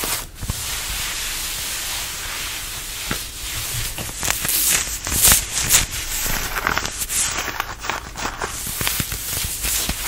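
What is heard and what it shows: Fingertips and nails scratch and rub the fabric of a fitted denim dress being worn, working over the bodice and waist. A steady, bright, hissing scrape fills the clip, broken by irregular sharper rasps and brief louder bursts of scratching.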